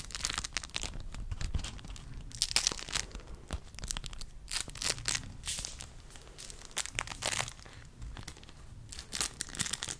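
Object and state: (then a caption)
Beeswax fabric wrap. A thin pink waxed cotton beeswax fabric wrap with a hexagon print is crinkled, bent and rubbed with fingertips. It gives bright, crisp crinkling and crackling bursts with soft rustling between them, and each sharp crackle stops almost at once.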